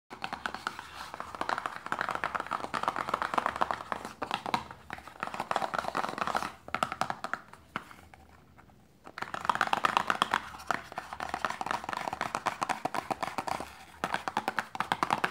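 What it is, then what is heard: Paperboard box tapped with nails. A small, closed, hollow printed paperboard lotion box, likely holding a lotion tube, is held in a hand over fabric and tapped quickly with long painted nails. The result is dense, dry, papery clicking centered in the midrange with almost no ring. It briefly quiets just before the 9-second mark, then resumes as fast as before.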